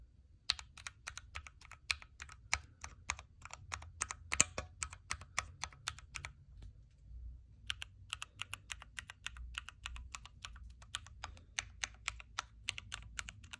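Fingertips type rapidly on a backlit Keychron Q3 mechanical keyboard with a knob, hot-swappable red switches, plastic keycaps and a metal case. Dozens of sharp, bright key clicks die away almost instantly over a faint low hum. The typing breaks off briefly near the middle and then resumes at the same quick pace.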